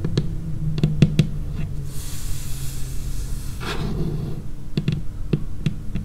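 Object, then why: Laminated wooden tabletop. Long painted fingernails tap and lightly scratch a large, solid, dark tabletop that looks like laminated wood. Short, dull, low knocks with almost no ring come in quick clusters at the start and end. Between them, a soft, bright scratching hiss drifts across the surface.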